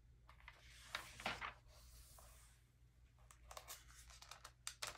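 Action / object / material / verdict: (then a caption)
scrape / glossy paper magazine pages / glossy paper / none. Fingertips smooth and rub the thin glossy pages of an open early 2000s vintage magazine lying flat on a velvet cloth, then lift and turn a page. Quiet, bright paper swishes and soft rubbing build to a louder crinkling flip, followed by faint brushing and a run of sharp, crisp crackles near the end. A steady low hum sits underneath throughout.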